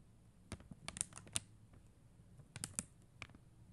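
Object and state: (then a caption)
Acrylic rhinestone sticker sheet tapped with nails. Long mint-green fingernail tips tap a blue and clear acrylic rhinestone sticker sheet, making nine quiet, sharp clicks that sound bright and die away almost at once. The taps come in loose clusters over a faint low hum, with a short pause in the middle.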